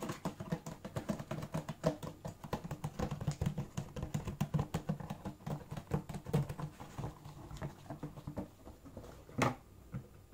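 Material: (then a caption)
Cardboard. Yellow rubber-gloved fingertips tap and scratch the walls and open lid of an empty, hollow Converse shoebox made of black-printed cardboard, while the wrapped shoes lie nearby untouched. The result is a dense, steady patter of short, dull, low-heavy knocks with a light scratchy texture and one louder, brighter scrape near the end.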